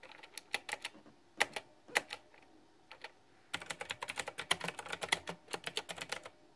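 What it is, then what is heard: Plastic mechanical keyboard with round keycaps. Fingertips of hands wearing a ring tap on a backlit, pink flower-themed, plastic retro typewriter-style mechanical keyboard with round keycaps. Bright, crisp key clicks come in bursts with a short pause in the middle, then a denser, continuous run of tapping to the end.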